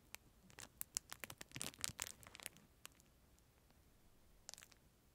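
Fingertips scratch and crinkle a clear, thin plastic film sleeve wrapped around a disposable plastic spoon, held close to the microphone. A quick series of bright, crisp crackles and scratchy ticks is dense through the first two and a half seconds, then thins to near silence before a short final flurry near the end.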